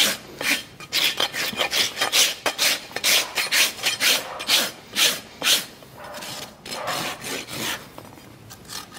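A farrier holds up the trimmed sole of a horse's hoof, solid keratin horn, and draws a large steel farrier's rasp across it in repeated strokes. A quick, fairly steady run of bright, gritty rasping strokes sounds, each a short hissing scrape with a harsh high edge and almost no low end. The strokes fade and turn softer toward the end.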